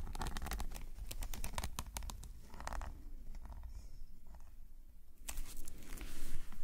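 A metal calligraphy nib on a wooden pen, held in a gloved hand, scratches ink lines across a flat black paper sketchbook page resting on a solid surface. Quick, irregular scratchy strokes and bright ticks come close together, ease into a quieter stretch, then return louder and rougher near the end over a low background rumble.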